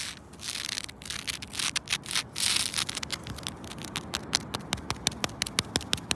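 Long pointed red nails scratch and rub the rough, cracked bark of a thick, solid living tree trunk with some exposed wood patches. Bright, dry scraping and rustling swells in the first half, then gives way to a quick run of sharp, crisp scratches that snap off almost instantly.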